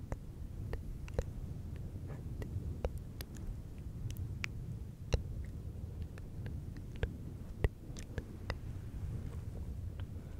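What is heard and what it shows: Fingertips of both hands rub and scratch a fluffy synthetic fur windscreen on a silver microphone. The result is a steady low, muffled rumble with soft crackles and sharp bright ticks scattered throughout.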